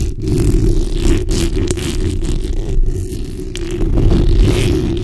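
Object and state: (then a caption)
Metal mesh microphone grille being scratched. A black hollow steel mesh microphone grille is scratched with the backs of long nails. The scratching is a continuous, heavy low rumble with a faint rasp on top. It stays steady for the whole clip, with a few brief dips in level.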